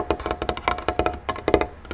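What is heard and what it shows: Fingertips tap rapidly on a cleaned wooden tray table, making short, dry knocks with a woody, mid-pitched tone. The taps are uneven in loudness and die away almost instantly. About eleven distinct taps are heard.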